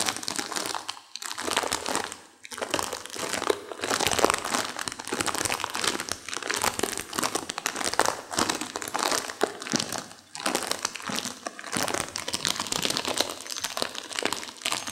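A sealed plastic instant-noodle packet holding a dry noodle block is held in both hands, squeezed and crinkled while long nails crush the brittle noodles inside. Dense, bright plastic crinkling mixes with sharp, dry crunches and snaps, and there are brief lulls around one, two and a half, and ten seconds. There is almost no low end, and each crackle stops instantly with no ring.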